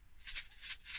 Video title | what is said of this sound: planting cress | give it a shake hear that sound that means it's good and dry